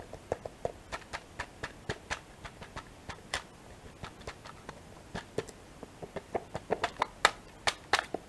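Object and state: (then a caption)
Sealed plastic yogurt tray with foil lid. A small, hollow, full Teddies two-compartment yogurt and cereal pack, a sealed plastic tray with a printed foil/paper lid, is held in one hand and tapped and scratched on the lid with long painted fingernails. About 21 short, dry, crisp ticks come at an uneven pace, bright and light with little low end, each dying away almost at once. The taps are quiet throughout and grow a little louder toward the end.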